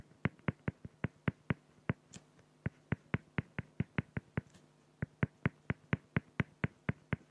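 A felt-tip pen hatches fast strokes across a flat, clear acrylic plexiglass sheet, scratching the plastic surface. About 27 short, crisp strokes sound in a steady rhythm, each with a dry low body and a quick bright edge, and brief pauses fall near 2.3 and 4.8 seconds.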